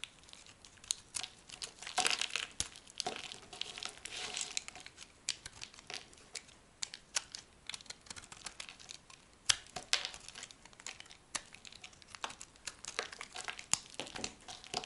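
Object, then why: Soap bar cut with a small knife. A dry, solid yellow soap bar held in the palm is sliced into thin, crumbly strips with a small metal knife, and the flakes fall onto a pile of soap shavings. A steady stream of short, dry, bright crackles and scraping crunches fills the clip, with almost no low end. Some cuts stand out louder than the rest.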